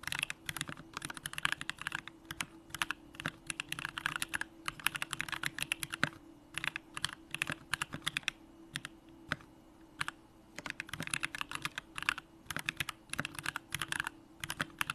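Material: Aluminum, plastic.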